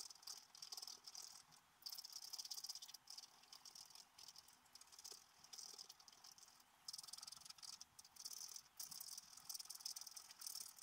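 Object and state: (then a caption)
Scratch-art paper card being scratched. A wooden stylus scratches small strokes near the edge of a black-coated scratch-art paper card lying flat. The sound is a dry, bright, rasping scratch in quick bursts of short strokes, separated by brief pauses, with almost no low end. It stays quiet and close throughout.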